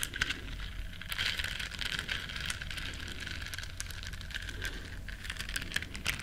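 Long nails scratch and rub the soft bristles of a small, flat, solid yellow silicone body scrubber shaped like a duck. The result is a steady run of dense, crackly, bright scratching with quick ticking flicks over a faint low rumble.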